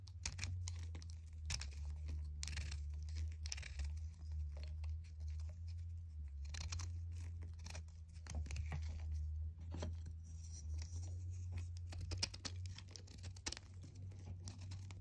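A small solid white chalk disc held between the fingers is shaved and cut with a red utility knife blade, sending crumbly flakes falling off. Dry, bright scraping and crunchy crackling bursts come in quick irregular strokes over a steady low hum.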